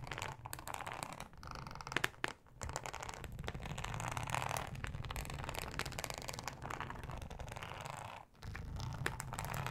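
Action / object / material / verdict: scrape / ribbed plastic cutting mat / plastic / none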